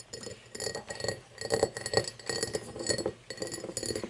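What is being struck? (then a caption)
Cut crystal glass tumbler. Long painted fingernails tap an empty cut-crystal glass tumbler lying on a wooden table. Quick, uneven clusters of bright, glassy clicks and clinks come in short bursts separated by brief pauses, each tap dying away almost at once with a faint tone near 445 Hz.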